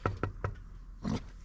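Knuckle knocks on the covered aluminium air intake pipe of an M2: three quick, short raps followed by a broader fourth knock after a brief pause. Each knock gives a dull, low thud with almost no ring and little high-end brightness.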